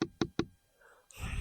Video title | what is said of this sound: How We Harvest Our Own Sweetener Every Year | Tap it in. And you listen for the thud.